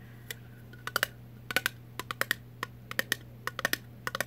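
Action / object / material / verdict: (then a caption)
tap / thin metal jar lid / metal / none. A round, thin, blue-printed Vlasic pickle jar lid, off the jar, is tapped on its top with long nails. There are 18 short, sharp, clicky metallic taps in irregular bursts, each with a bright tone near 1.8 kHz that dies almost instantly, over a quiet, steady low hum.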